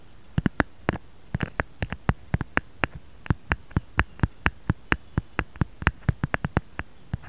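Fingertips and short nails tap rapidly on the back of a smartphone in a brown-grey matte silicone case with a bear print, lying flat on a mat. About thirty short, dry taps sound in an uneven rhythm, each a soft low thud with a crisp clicky edge that dies away almost instantly against a quiet background.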